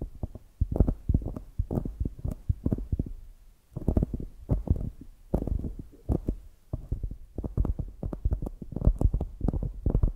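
Long nails tap and scratch the upper surface of a polyurethane foam squishy donut with an orange top. The result is rapid bursts of soft, muffled, deep thumps with almost no ring, coming in dense clusters separated by brief pauses.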